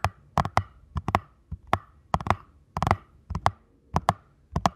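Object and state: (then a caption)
Cardboard box. Fingertips tap and scratch the face and long narrow side edge of a small paperboard ankle support box. Short, dry, hollow papery knocks with a midrange tone land in uneven bursts, often in quick pairs, and die out instantly. Faint scratchy rustles fill the gaps between them.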